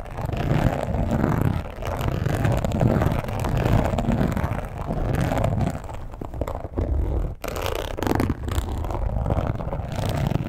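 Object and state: Embossed leather wallet.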